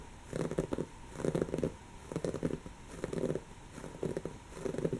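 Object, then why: Woven fabric cushion. Long natural fingernails of one hand scratch and claw at a soft, stuffed, brown textured woven-fabric cushion. The result is six separate bursts of quiet, dry, scratchy rustling, each about half a second long, with brief pauses between them. The sound is mostly low-mid in tone with crackly texture.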